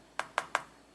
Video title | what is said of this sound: *EASY AMAZING RECIPE*HAWAIIAN BUN Crème brûlée DONUTS* #trending #food #homemade #kitchen #tiktok | we're going to tap on it yes do you hear that perfect I love that noise